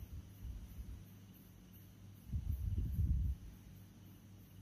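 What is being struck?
Nothing is struck.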